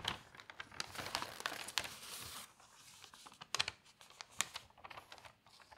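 Fingertips turn several pages of an open newsprint newspaper and smooth them flat. The result is a run of sharp, bright paper crinkles and rustles, with a denser crackling wash in the middle before it thins into scattered snaps.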